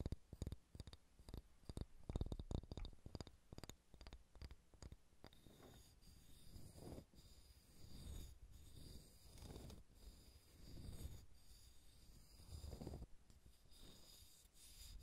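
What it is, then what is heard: Wooden ball scratched and tapped. Fingernails scratch and rub along the grain of a solid, pale pine wooden ball. For the first five seconds there is a fast run of sharp, dry clicks and taps. Then slower, breathy rubbing strokes swell and fade in a quiet, low-heavy texture with a faint high hiss.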